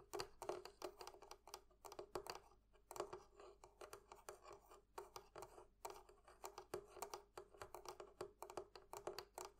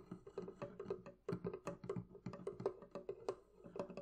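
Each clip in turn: First: Quick bright taps and light scratches on the metal fittings of a chest, each hit dying almost at once. Second: A quick run of short, dry wooden taps, mid-pitched and barely ringing, played on a wooden barrel chest.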